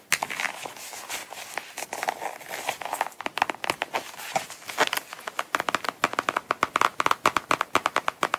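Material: Coated canvas.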